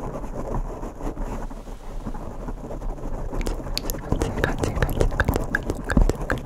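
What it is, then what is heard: Foam microphone windscreen being scratched. Bare fingertips with short nails scratch the surface of two identical black foam microphone windscreens, making a dense, low, rumbling rustle. The first half is a soft, steady muffled crackle; from about 3.5 seconds on it turns rougher, with sharper, brighter scratch strokes popping out of the rumble.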